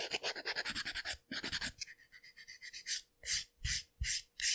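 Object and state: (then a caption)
Gel nail extension being filed. Long, clear polygel or plastic-tip nail extensions on one hand are filed with a white and black emery-board nail file held in the other hand, using back-and-forth strokes across the nail tip and surface. About two dozen dry, bright, raspy filing strokes are heard: quick, rapid strokes at first, then softer and slower ones, ending with a few longer, louder scrapes.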